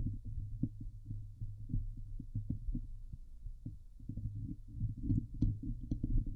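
Long nails on both hands scratch the hollow metal mesh dome grille of a Blue Yeti microphone. The result is a dense stream of short, rustling scrapes heard as deep, muffled thumps, with almost all the energy in the low range and occasional brighter scratchy accents near the end.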